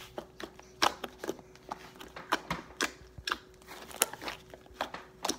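Fingertips pat, poke and fold a mass of white fluffy slime on a table, making about sixteen short, sticky pops and squelches at an uneven pace. Each snap is crisp and bright and dies away almost instantly, with a faint steady tone humming quietly underneath.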